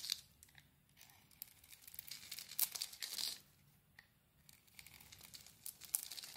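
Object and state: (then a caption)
Bar soap being carved. A small blade carves a solid, palm-sized bar of soap with a green coating and a white core, held in one hand, scraping and shaving off flakes and chunks. Quiet, dry, bright scraping and crisp crackly shaving strokes come in short bursts, with a few louder rasping cuts and almost no low end.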